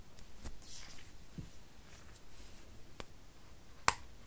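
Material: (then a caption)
Aluminium. Long nails tap and scratch the silver aluminum back of a thin, solid iPad (8th generation, 2020) as the tablet is held up and turned in the hands. Faint soft scraping and light clicks give way to one sharp, bright tick that ends quickly with almost no ring.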